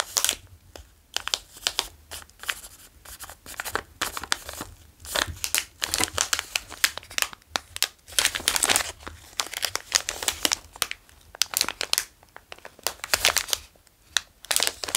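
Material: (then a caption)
Plastic. A small Ahlgrens Bilar candy bag of clear, printed plastic, filled with soft foam car sweets, is tapped with fingertips and crinkled and turned in the hands. The result is a continuous run of bright, crisp plastic crackles and taps with very little low end.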